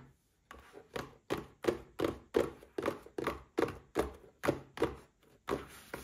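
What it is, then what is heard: Cardboard gift box. A small red printed cardboard gift box holding a Paladone Mario Kart glass is turned in the hands and tapped with fingertips and short nails. Fourteen dull, hollow, papery taps come at an uneven quick pace, each dying away almost at once with a faint brushing between them.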